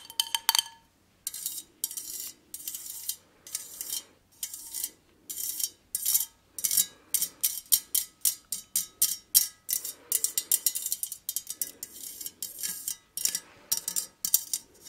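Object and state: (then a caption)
Metal lace-pattern candle holder. Long nails tap and scratch a hollow, empty white perforated metal candle holder with a lace pattern. The result is a run of bright, dry clicks and short scratchy bursts that stop almost at once, with a soft rasping texture during the scratching and almost no low end.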